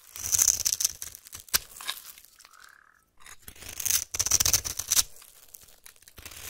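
A utility-knife blade cuts and scrapes crumbly cubes off the top edge of a solid white rectangular soap bar held in the hand. Dry, crisp crunching and scratchy scraping come in two busy bursts with a short quiet gap between them. The sound is almost entirely high and bright, with no ring after each cut.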